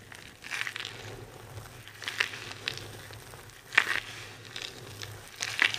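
A large pile of dry, multicolored soap shavings on a table is crushed and rubbed with both hands and fingertips with long red nails. Soft, bright crumbling and crinkling textures recur in uneven bursts, with the sharpest crunches around 3.8 and 5.5 seconds, over a faint low hum.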